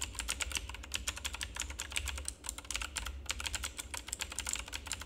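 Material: Plastic.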